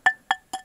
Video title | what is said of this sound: Stone Roof #3: Race to the Top | that's nice slate it rings pretty good